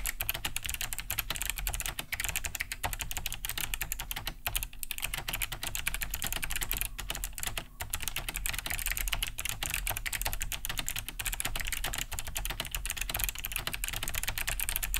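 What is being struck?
Plastic mechanical keyboard.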